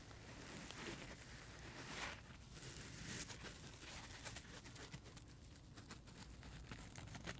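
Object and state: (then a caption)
Dry foam sponge being scratched. Fingertips scratch and rub a dry, multicolor rainbow heart-shaped porous foam sponge with a white scrub layer, held in the hands. Soft, crinkly scratching and rustling come in uneven bursts, with brief bright scrapes over a low, quiet background.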